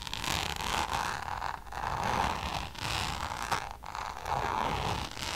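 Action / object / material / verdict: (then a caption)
scrape / coated canvas pouch / coated canvas / none. Long nails scratch the textured surface of a checkered coated-canvas designer pouch. The result is a continuous, raspy scraping with a steady midrange tone around 880 Hz and bright high hiss, rising and falling in a few strokes with brief dips between them.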